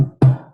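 A normal hard-shelled chicken egg is tapped on a table, making a short, low, hollow knock with a brief ring. Unlike a vinegar-soaked naked egg, which makes no noise, the shelled egg gives a clearly audible tap.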